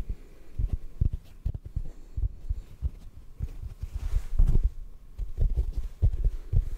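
Fingertips tap a hand-sized, rectangular yellow porous sponge that is solid and dry. They produce a quick, irregular series of soft, muffled low thumps with almost no ring and no high content. The result is a deep, padded patter like a faint heartbeat.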